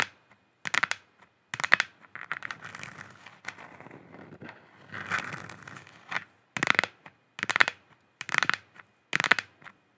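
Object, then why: Plastic sphere lamp. Long nails scratch and tap a hollow plastic moon lamp sphere held in both hands. Dry, bright crackling bursts come in irregular clusters, with softer continuous scratching between them, mostly in the upper midrange and with almost no low end.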